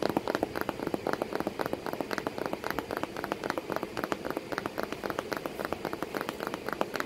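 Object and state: Cardboard box.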